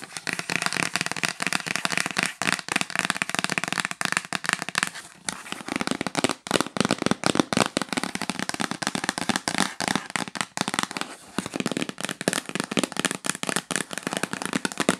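Long nails tap rapidly on the flat lid of a yellow L'Occitane cardboard gift box lying flat. The result is a dense, continuous stream of sharp, dry clicks with a bright, papery crackle and almost no ring.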